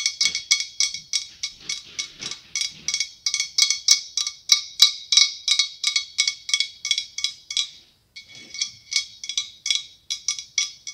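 Long acrylic nails tap rapidly on the ribbed surface of a large hollow white blown glass pumpkin with a clear glass stem. About forty bright, high clinking taps ring briefly and fade quickly, with a short pause near the eight-second mark before the tapping resumes.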